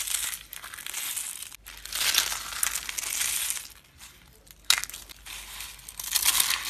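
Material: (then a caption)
Soap. Small, hollow yellow and green dry soap curls are pressed flat and crushed under both hands and fingers. The result is dense, bright, crackly crunching in uneven bursts, with short pauses and a sharp snap partway through. There is almost no low end.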